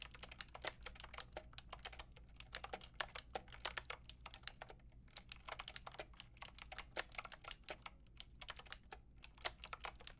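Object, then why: Plastic mechanical keyboard with round keycaps. Fingertips and long nails type on a full pink, grey and white mechanical keyboard with round plastic keycaps. Quick, bright plastic clacks come in bursts with brief pauses near 5 and 9 seconds. The typing stays quiet over a faint steady low hum.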